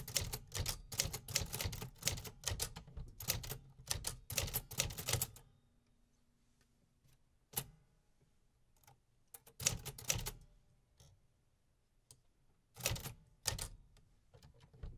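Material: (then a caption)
Metal. Fingertips type at a slow pace on the metal keys of a vintage 1950s manual typewriter. A fast run of sharp, bright mechanical clacks with low thuds gives way to a near-silent pause, broken by a few isolated key strikes and a short second burst.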